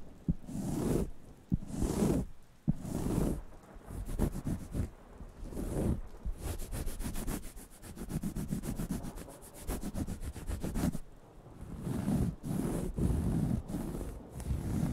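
A round, flat cork coaster, thin and solid, is held in one hand and lightly tapped and scratched with the fingertips. Soft scratching and rubbing alternate with sharp, short taps, including rapid runs of quick scratches that make a dense, bright rustle over a low, muffled body. Several distinct taps stand out between quieter stretches of brushing.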